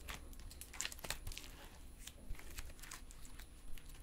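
A soft, solid silver metallic stress putty is held in both hands while fingertips flatten, fold and stretch it apart. Quiet, sticky crackles and bright little clicks and pops come in quick irregular bursts over a low, muffled handling rumble.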